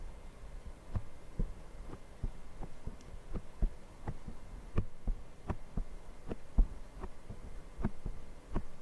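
Fingertips of both hands tap and scratch a small, soft, porous black foam windscreen over the hollow capsule of a handheld Zoom recorder mic. A run of short, dull, low thumps sounds like a muffled heartbeat, with faint scratchy rustle between them over a steady low hum.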